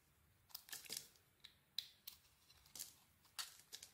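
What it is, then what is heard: Bar of soap being carved. A utility knife blade carves curls from a solid gold "Cleopatra" bar of soap with a cream interior. About ten short, crisp scraping strokes sound one after another, each a quiet, bright, dry shaving rasp with almost no low end and no ring.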